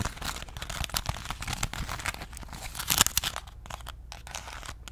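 A small crumpled ball of aluminum foil held in the fingers is scratched, squeezed and crinkled with long nails. The result is a dense run of bright, sharp crinkles and crackles with a low thumpy undertone, peaking in a louder crunchy burst near the three-second mark before settling into softer crinkling.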